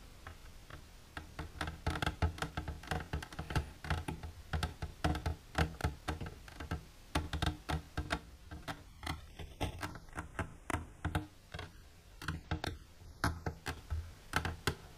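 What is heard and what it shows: Long silver nails tap rapidly on the wall of an empty, transparent hard plastic container standing upright. The result is a steady stream of quick, dry clicks with a hollow low thump under each tap, and the sound dies away almost at once.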